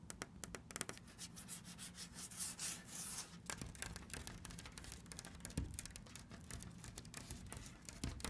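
Long red nails scratch and tap across a flat, solid wooden cabinet door panel printed with a bird motif. The result is a quiet run of dry, brittle clicks and sharp taps over a soft rasping scrape, with no ring after each hit.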